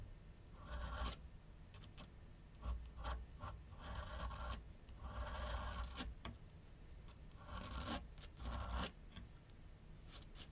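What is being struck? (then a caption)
Pencil on a paper sheet over a flat drawing board. A pencil tip draws light strokes across a large white paper sheet mounted on a flat board on a wooden easel. Soft, dry scratching rasps come in repeated bursts of varying length, with brief sharp ticks between them, over a steady low hum.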